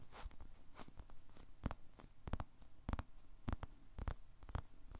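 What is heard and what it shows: A white-and-teal, animal-shaped squishy toy made of solid soft polyurethane foam is held in one hand, squeezed and tapped with the fingertips. The result is quiet, muffled, low thumps and soft squishing sounds at an irregular pace, each with a brief, bright crackly edge that dies away almost instantly.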